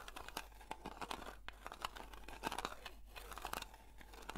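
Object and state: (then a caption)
Metal cream tin scratched with nails. Long nails slowly scratch the printed lid of a round blue metal Nivea cream tin. The result is a quiet series of dry, crackly scrapes and small clicks, each with a faint metallic ring, over a low, steady background.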